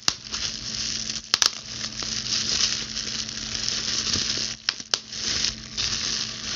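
A clear plastic bubble wrap sheet is held in both hands while long blue nails squeeze and pop the bubbles and crinkle the plastic. A steady bright crackling rustle runs throughout, broken by sharp, quick pops.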